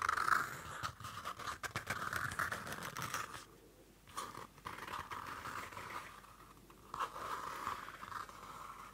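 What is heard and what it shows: Long nails scratch the dark card cover and edge of a small Field Notes pocket notebook, a cardboard-covered paper notebook. The result is a run of dry, irregular scratching bursts with a rasping tone near 1.3 kHz and faint bright hiss, broken by two quieter pauses.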